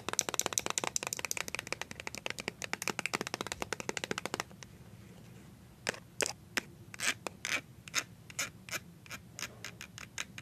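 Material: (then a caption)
Plastic. A small, filled white plastic BB cream squeeze tube is rubbed and scratched with fingertips and paper-clip nails. For about four seconds there is a rapid run of crisp, bright clicks and scratches, then a brief near-silence. Slower, separate scraping strokes follow, each a short, dry, high burst with no ring.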